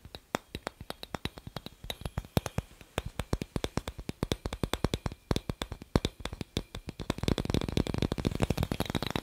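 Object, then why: Glass incandescent light bulb. A hollow, clear glass incandescent light bulb is held in one hand and tapped with the fingertips and nails of the other hand, producing a rapid series of short, dry clicks that die away almost instantly. For the last two seconds, the tapping grows faster, denser and louder, blurring into a continuous rattling patter.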